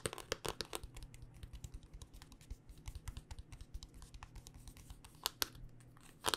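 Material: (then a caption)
Hard plastic. A handheld smartphone in a solid black rugged hard-plastic case is tapped with long dark-painted fingernails. The result is a quick, irregular run of sharp, clicky taps with bright edges and very short decay, heard over a steady low hum. Several louder taps cluster near the start, and a few more stand out near the end.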